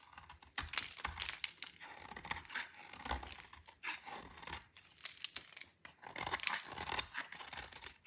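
A solid white dry bar soap held in the hand is scraped with a metal utility knife blade, shaving off chalky flakes and powder that fall onto the table. Quick, dry, bright rasping and crumbly crunching strokes follow one another unevenly, with little low end and short, clipped decays.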